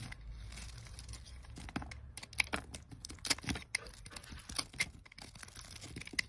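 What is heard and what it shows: A utility knife blade cuts and scrapes slices off a solid pale green stamped olive oil soap bar held in a hand with red nails. The sound is a close, bright, dry scraping and crackling, broken by sharp clicks and small crunches as each slice shears away. The soft peeling strokes run on throughout, with quick snaps that stop dead with no ring.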